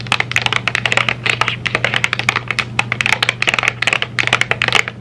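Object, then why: Thin cardboard candy box. Long nails tap rapidly on the surface of a flat rectangular M&M's box made of thin printed cardboard, held in both hands. The result is a quick, uneven stream of short, bright, dry clicks, much like fast keyboard typing, over a faint steady low hum.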